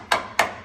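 Two sharp, bright taps on a rusty steel vehicle frame, each a short knock with a quick decay and little low end. The crisp, non-deep sound shows the frame is solid with only surface rust; a deep sound would mean it is rotted all the way through.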